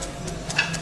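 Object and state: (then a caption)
Crispy baked pizza crust. A baked pizza crust, finished cooking on the oven door, is pressed so it crunches with a few short, crisp crackles over a low steady hum. The crunch shows the crust is cooked and crispy.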